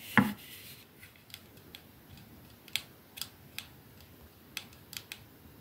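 Long painted nails slowly tap a 212 perfume bottle held in the hands, striking its silver metal sleeve and glass domed ends. About ten sharp, bright clicks ring briefly against a quiet background, and the first tap is the loudest, with a fuller low knock.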